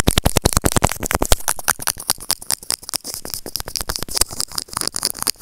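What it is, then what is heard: Plastic earphone remote scraped with tweezers. White plastic serrated tweezers repeatedly scratch and grip the surface of a small, hollow white plastic earphone remote with a mic. The result is a rapid, close series of dry clicks, scrapes and rattling taps. The opening second has heavier, fuller knocks, then the sound settles into lighter, bright scratching.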